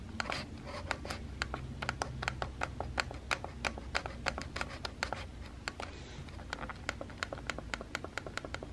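A fingertip and nail tap and press the round button next to the flash on a small, hollow, white plastic Instax instant camera, heard close up. A steady run of about forty-six short, bright plastic clicks with almost no ring plays over a low, constant background hum.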